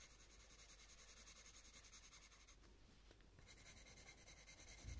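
A purple coloured pencil rubs and scratches over the petals on a thin paper colouring book page while shading. It makes a quiet, steady, bright scratchy rubbing in quick rhythmic strokes, which thins out briefly midway and then resumes. A soft low thump comes near the end.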